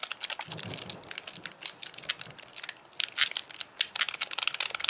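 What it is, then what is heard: Plastic game controller, buttons clicked. Thumbs and fingertips click the buttons and D-pad of a hand-sized, white, hollow plastic Wii Classic controller. A fast, uneven run of sharp, bright plastic clicks and taps follows, each dying out almost instantly with almost no low end.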